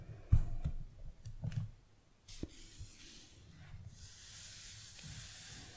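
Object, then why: Hardcover notebook with cardboard cover. Fingertips and nails tap, rub and scratch across the glossy floral printed cardboard cover of a closed, solid A5-sized hardcover paper notebook labeled "Notizen". Soft, low thumping taps with short dry clicks come first, followed by a quieter stretch of faint, bright scratchy rubbing.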